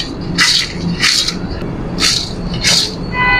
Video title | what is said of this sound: Palak Pakora Recipe - آلو کے پکوڑے -Make & Store Pakora For Ramdan -by Chef Farrukh | you can tell by the sound how crispy they are